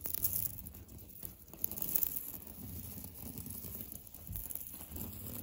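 Fingernails scratch hard over the raised texture of a solid, beige, knockdown-textured painted drywall interior wall. The result is a continuous, rough, crackly rasp that is heavy in the low end, with a faint bright hiss above it. The loudness swells and dips as the strokes run together without clear gaps.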